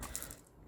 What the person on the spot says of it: I find they're the most noisiest if you can hear me while I'm shaking it